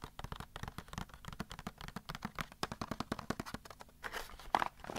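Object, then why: Small cardboard box. Fingertips and nails tap and scratch the sides of a small, hollow printed cardboard box holding a Magic 8 Ball as it is turned over on carpet. A quick, dense run of dry, hollow taps mixes with soft scraping and faint crinkling, each tap dying away almost at once. Near the end a brief louder scrape and rustle stands out.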